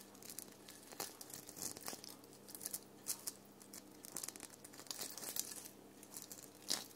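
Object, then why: Sequin-covered foam ball ornament. Long nails scratch the rough surface of a small red foam ball ornament covered in sequins and glitter, hanging on a tree. The result is a quiet run of crisp, crinkly scratching bursts, bright and high-pitched with almost no low end.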